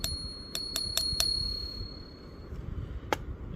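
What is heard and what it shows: Two generic buffalo-style one-ounce silver rounds from the same maker are flicked, giving six sharp taps that bring out a sustained high, bell-like ping lasting about two seconds. Both rounds sound the same, consistent with real silver.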